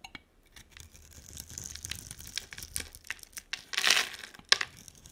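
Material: Soap.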